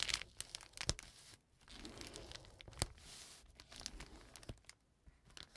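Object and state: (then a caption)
Paper bag, crinkled. A flat brown kraft paper bag lying on a table is rubbed and folded with fingers and nails. The result is a dry, bright crinkling and scratching, broken by sharp crackles and short tearing-like rasps.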